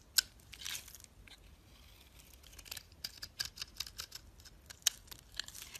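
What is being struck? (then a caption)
Bar of soap. A utility knife blade shaves curls off the surface of a solid white rectangular bar of soap held in the hand. Quiet, high, bright scraping strokes and crisp little clicks come in quick bursts, with almost no low end and no ring after each cut.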